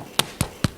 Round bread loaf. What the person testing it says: si jamais ça sonne creux c'est que il est beau